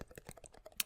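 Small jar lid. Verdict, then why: Hollow. Fingers tap lightly on the middle of the lid of a small jar of minced garlic, giving a quick series of soft, hollow, almost drum-like taps. The taps are short and bright with almost no ring, and the final tap is the loudest.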